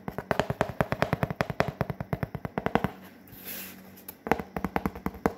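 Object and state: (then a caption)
Corrugated cardboard scratched with fingernails. Long fingernails scratch and rub a large, flat, brown corrugated cardboard sheet, producing about 37 quick, dry, scratchy strokes in a rapid rhythm. The strokes pause briefly for a soft hissing rub, then the scratching resumes. The sound is mostly mid-range with a little low thud and almost no ring.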